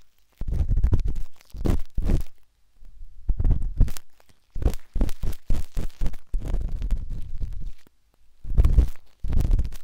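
A metal-tipped dot stick with a wooden handle scratches inside the soft, hollow canal of a pinkish-white silicone ear on a binaural microphone. Heard up close, it makes muffled, deep scraping and rubbing bursts with brief pauses between them, almost all of the energy low with little brightness.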